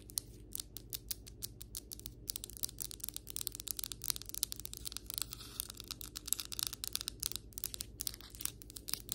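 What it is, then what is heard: Ceramic floor tile tapped with fingernails. Long white acrylic nails rapidly tap and scratch across solid ceramic floor tiles and their grout lines. The result is a dense stream of sharp, bright clicks and scratchy rasps with a steady low hum underneath.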